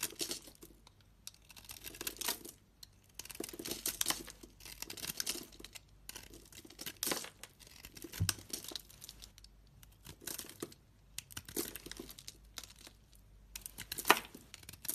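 A solid purple and white striped bar of soap, already worn down, is shaved with a utility-knife blade held close to the fingers. Short runs of crisp, bright scraping and crackling come in bursts, separated by brief quiet pauses.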